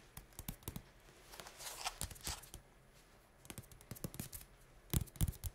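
A small, narrow white cardboard box holding a tube with a green cap, likely full, is held upright in the hands and rapidly tapped and scratched with the fingertips and nails. Quick, dry, irregular taps mix with brief bright scratching and rustling, with low thuds from the box and the loudest taps near the end.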